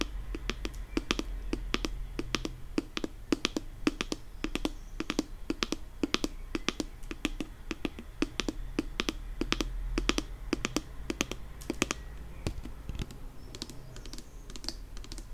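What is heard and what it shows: Long nails quickly tap the top and sides of a pink plastic nail polish remover pump bottle. The result is a dense run of short, crisp clicks with very little ring, some bright and some with a hollow body around 300 Hz, over a low steady hum.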